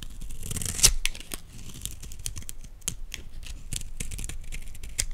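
A utility knife blade scrapes fine flakes off a solid green Dalan olive oil bar soap held in the hands. The result is a steady run of short, dry, bright rasping scrapes, with one sharper, louder scrape near the start.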